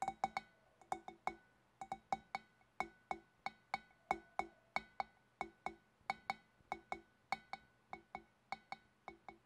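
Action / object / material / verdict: tap / glass fish bowl / glass / none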